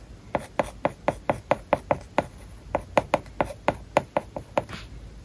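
A hard plastic stylus writes on a large iPad whose glass screen is covered with a matte plastic paper-like film. A steady run of short, dry taps and scratchy strokes sounds, each with a mid-pitched, papery click and almost no ring, over a quiet background.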